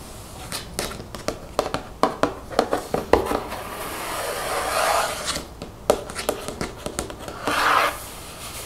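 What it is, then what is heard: Mostly empty plastic shampoo bottle. Long fingernails tap and rub a mostly empty, translucent plastic shampoo bottle standing upright. Quick, sharp clicking taps are broken up by louder swishing rubs around the middle and near the end. Each sound is short and dry, with a hollow plastic tone.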